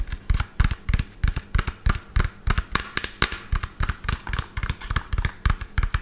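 A medium lime-green hollow plastic toy dump truck with an empty tipper bed, held in hand, is tapped quickly with fingertips and fingernails near the microphone. About thirty short, dry hollow taps come in a fast, uneven rhythm, each with a deep low thump and a bright clicky edge that dies away almost instantly.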